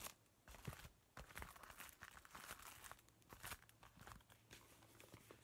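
A large, flat zipper pouch made of crinkly laminated woven plastic with a mermaid print is held in both hands while fingertips scratch and crumple its surface. The result is a steady stream of quiet, dry crinkling and crunching, with sharper bright crackles rising above the soft rustle.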